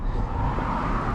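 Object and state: Nothing is struck.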